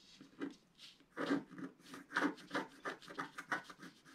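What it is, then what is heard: Scratch art paper being scratched. A wooden stylus stick scratches a flat, roughly A4-sized black wax-coated scratch art paper sheet lying on a table while the other hand holds it steady. About 13 quiet, dry, rasping strokes come at an uneven rhythm, each a short scratchy burst with a bright hiss and no ring afterward.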